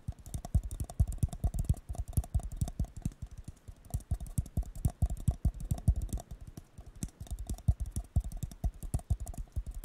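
A blue disposable paper cup, hollow and empty, is tapped rapidly with fingertips and nails on its bottom, which faces the mic. The result is a fast, irregular patter of dull, low, hollow thumps with light clicks and no lingering ring, continuing steadily throughout.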